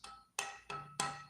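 A fretboard wood blank, the same stock used for a previous guitar's fretboard, is tapped four times. Each tap gives a bright, xylophone-like tone around 790 Hz with a short ringing resonance. The wood is shown as resonant.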